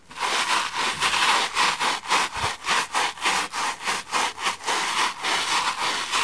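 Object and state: Cellulose sponge brushed.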